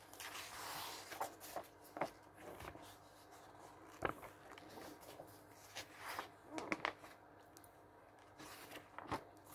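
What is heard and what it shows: Fingers grip the page edges of a thick glossy paper catalog lying open on a wooden table and turn its pages. Soft, airy rustles and swishes are broken up by sharp, bright paper snaps and crackles as each page flips over. The sound stays quiet and close throughout.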